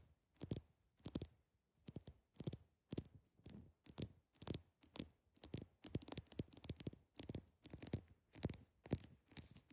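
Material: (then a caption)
Ice. Long acrylic nail tips tap a large, solid, clear ice block in quick clusters. The taps are short, sharp and bright with a brief low thud beneath. Each click dies away almost instantly, and the quiet bursts grow denser toward the end.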